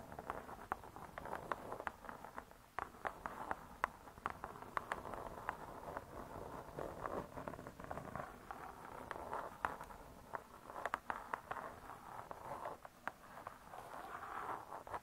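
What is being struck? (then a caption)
Cardboard-covered spiral-bound book. Long nails tap steadily on the cardboard cover of a spiral-bound hardcover cookbook lying flat. The quiet, dry clicks come in an irregular stream, with a midrange tone around 1 kHz, little low end, and no ring after each tap.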